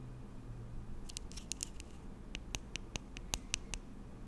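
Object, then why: Slim plastic serum tube with cap. Long nails scratch and tap along a slim, hollow plastic lash and brow serum tube with a cap, held in both hands. A series of sharp, bright clicky taps, with a tonal edge around 2.7 kHz, sounds over a quiet low rumble. Each tap dies away almost instantly.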